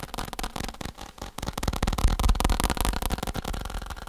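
Fingertips tap rapidly on a faux leather saddle, making a quick stream of soft, dull taps. Each tap is short with little ring, heavy in the low end and light on high tones, with a slightly uneven rhythm.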